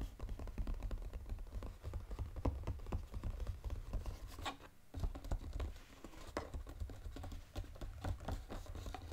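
Fingertips and short nails tap rapidly on the lid of a flat, brown, textured cardboard Godiva chocolate box lying on a table. The result is a dense run of quick, dry taps with dull low thuds and very short decay, with a brief lull just before the five-second mark.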